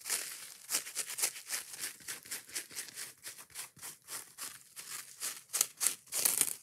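Long nails scratch and tap quickly and aggressively across a yellow foam kitchen dish sponge with a green scouring pad layer. A rapid series of dry, bright, crinkly rasps and taps comes with almost no low end, and the bursts grow louder and denser toward the end.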